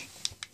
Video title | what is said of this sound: Homeschool - Last Trimester Planning 2015-2016 | do you hear how that sounds like plastic once we put the uh fruit rollups on there it became hard